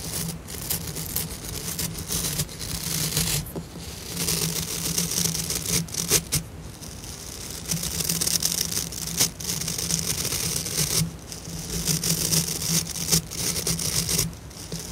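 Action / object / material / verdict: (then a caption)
scrape / plastic scrub brush with synthetic bristles / plastic / none. Long nails and fingertips scratch and flick through the dense white synthetic bristles of a hand-sized scrub brush with a light blue plastic head, held close. The result is a bright, crackly scratching and rustling that comes in long bursts separated by brief quieter pauses, over a steady low hum.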